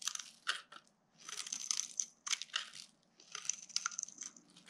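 A flat metal blade is scraped and carved across the surface of a single solid pink, ridge-striped bar of dry soap, held in the hand over a pile of soap shavings, shaving off curls. The result is dry, bright, crunchy scraping in three bursts of rapid crackles, separated by brief quiet pauses.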